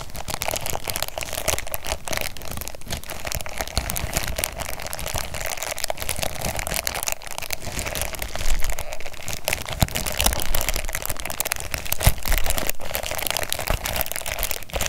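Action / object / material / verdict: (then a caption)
scrape / stack of paper cups in a plastic wrapper / plastic film / none. Fingertips rub and crinkle the clear plastic wrapper over the ribbed sides of a stack of nested, hollow, empty disposable white cups held close. A steady, dense crinkling and rustling with bright texture runs throughout, growing slightly louder and busier partway through before settling.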